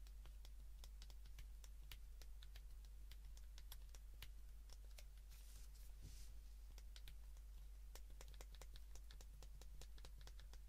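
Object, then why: Plastic flip phone keypad. A white plastic flip phone is held in the hands while its keypad is pressed rapidly with both thumbs and fingertips. This produces a quiet stream of sharp, bright clicks with short decays, set over a steady low hum around 62 Hz. A soft, airy rustle rises briefly near the middle.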